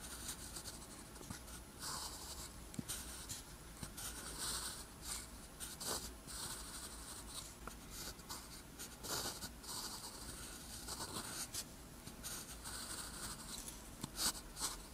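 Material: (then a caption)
Paper. A metal pen nib scratches across a flat, thin sheet of lined white paper, writing Korean characters in green ink. The clip is a steady run of soft, bright, papery scratching strokes with short pauses between them, over a low, constant hum.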